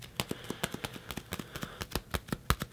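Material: Synthetic leather.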